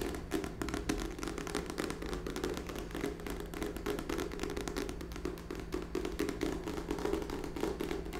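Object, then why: Small cardboard box. Long nails tap quickly and continuously on the flat face of a small rectangular printed cardboard box, likely empty, held in both hands in front of a microphone. The taps are dull and hollow, centered in the low-mids around 320 Hz over a steady low hum, and each one fades quickly. They run in a dense, even stream for the whole clip.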